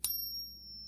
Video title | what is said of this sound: Fake $5k Gold Coin Ruined Her Stack! Father Scammed Out of $1,000's!🔥🚨 | a little better sound, but it's still not right. Way too coarse.